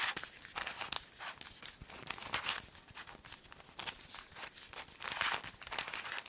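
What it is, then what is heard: Plastic puzzle cube. A small solid plastic 3x3 Rubik's cube is held in both hands and twisted while long nails click against its colored faces. The result is a steady run of quick, bright clicks and crinkly, scraping turns, mostly high with almost no low end.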